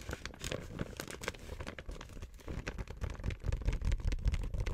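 Long white nails scratch a flat, empty-looking pink printed plastic gift bag reading "First we eat" with grey fabric handles, while fingertips crinkle and rub its glossy surface. A dense, irregular stream of crisp crinkles and scratchy rustles is heard, with a heavy low thump in the handling, growing louder and busier in the last second and a half.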